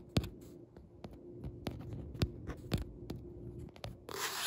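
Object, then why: Paperback book with card cover and paper pages. Fingertips with red-painted nails tap the dark, glossy card back cover of a paperback book lying flat with its author photo facing up; the book is solid, with paper pages. About nine soft, dull, short taps land at irregular intervals over a steady low hum. The clip ends in a brief burst of bright hiss.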